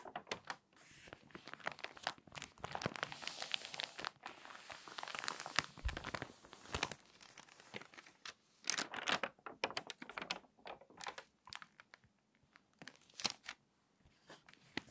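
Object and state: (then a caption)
Glossy magazine paper. Fingertips and long nails press and rub along the pages of an open, crinkly glossy paper magazine, then turn a page. Dense, bright crinkling and crackling with sharp papery snaps comes through quietly, swelling into louder bursts as the page is pressed and turned.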